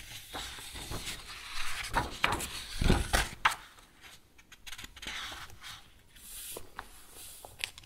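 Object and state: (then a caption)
Paper sheets in a ring binder. Fingertips grab and leaf through a stack of thin, flat green and white A4 paper sheets held in a metal two-ring binder, rubbing and flexing the pages. Dry rustling and crinkling build to a louder burst of flicks and page slaps in the middle, then settle into softer, brighter rustles with a few sharp ticks.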